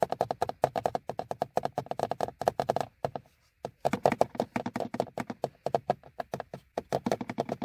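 Fingernails of both hands rapidly tap and scratch the front face and top edge of a hollow, molded plastic car instrument cluster hood. The result is a dense run of dry, hollow clicks centered around 650 Hz that die away almost instantly. Near the middle there is a brief near-silent pause, and then the fast tapping picks back up.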